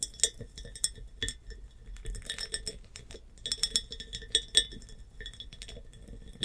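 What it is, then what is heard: Glass hobnail jar. Long painted nails tap a large, clear glass hobnail jar with a bumpy surface and a metal clamp lid, standing upright, hollow and empty. Light, bright glassy clinks come in quick, irregular bursts, each with a brief high ring that fades almost at once, over a quiet background.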